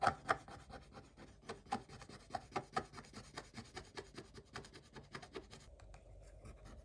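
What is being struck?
Coated paper page scraped with a wooden stick.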